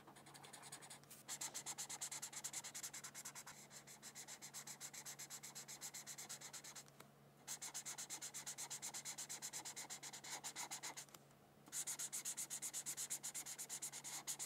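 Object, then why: Paper coloring sheet under a felt-tip marker. The felt tip of a red plastic marker, held in a hand with long purple nails, rubs in short strokes across a thin white printed paper coloring sheet lying on a coloring book. The result is rapid, bright, scratchy strokes in steady bursts, broken by brief quiet pauses near 1, 7 and 11 seconds.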